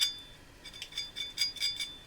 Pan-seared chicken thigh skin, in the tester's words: Ese sonido crujiente es un indicador de que está lista.